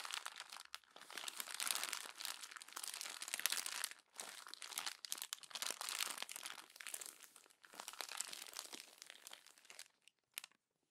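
Glossy magazine pages are crumpled by hand and then smoothed and rubbed with the palm and long nails. The sound is dense, bright, crackling crinkling with almost no low end. It comes in long bursts broken by brief pauses and ends in a few sparse crackles.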